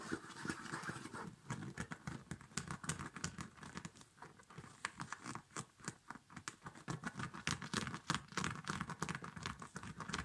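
Fingertips and nails scratch and rub the quilted nylon upper and the cord top of a small, empty child's winter snow boot. The result is a quick, irregular run of dry scratches and soft rustles, each short and crisp with a bright hiss over a low papery rub.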